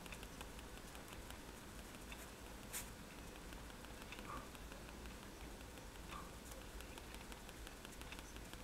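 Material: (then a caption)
Paper. A fine-tip technical pen taps dots onto a flat sheet of white drawing paper resting on a table. Soft, quiet stippling ticks repeat over a steady low hum. One sharper, brighter tap stands out near the middle.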